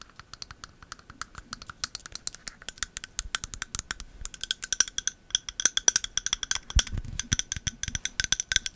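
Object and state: Candle in a glass jar.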